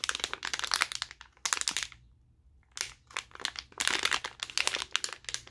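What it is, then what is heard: Plastic blister pack being crinkled. A colourful, glossy plastic blister pack of glow sticks, about 25 cm long, is held in both hands and squeezed and flexed with the fingers. It makes bursts of sharp, bright crinkling and crackling, with a brief quiet pause in the middle before the crinkling resumes.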